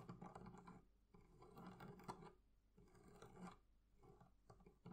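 Long nails on both hands scratch and tap the leather carrying handle on top of a wooden barrel chest. The result is quiet bursts of soft, dry rasping scrapes with a few light taps, mostly low and midrange, separated by brief pauses and with almost no ring.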